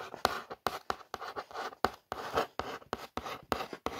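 Long nails trace and scratch across the printed lettering on a hollow brown cardboard ring light box. The result is a series of short, dry scratching strokes with brief pauses between them. The sound is centered in the mid range with a light papery hiss and almost no low end.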